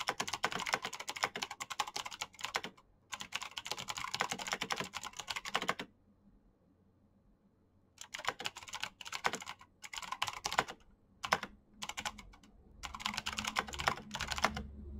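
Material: Plastic.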